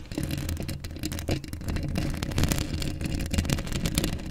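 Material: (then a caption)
Steel mesh. Long acrylic nails scratch across a hollow steel mesh microphone grille up close. A continuous run of rough, rasping scrapes sits over a heavy low rumble centered near 105 Hz, with brief bright streaks flickering through as the nails drag over the mesh.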